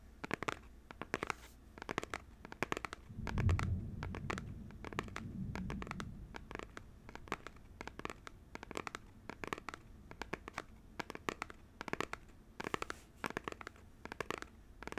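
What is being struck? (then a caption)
Small paperboard box. Fingernails rapidly scratch and tap the face of a small, hollow printed paperboard Joy-Con box that holds the controllers and is held upright in one hand. Dense, sharp dry clicks and scrapes run throughout, with a deeper low rumble swelling briefly partway through.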